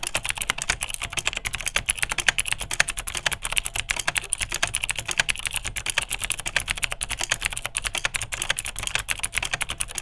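Continuous two-handed fingertip typing on a beige vintage full-size plastic Unitek K-158 mechanical keyboard with Cherry MX Dark Blue click switches. It produces a rapid, steady stream of sharp, bright clicks, each dying away almost instantly, with most of the energy in the upper range and a midrange peak around 1.6 kHz.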